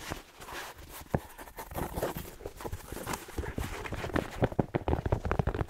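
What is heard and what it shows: A red plaid fabric slipper with a fleece lining and a black rubber sole is held hollow and tapped rhythmically on the sole with fingertips. It gives dull, low clip-clop-like knocks that die out at once. The taps start sparse and quiet, then grow quicker and louder toward the end.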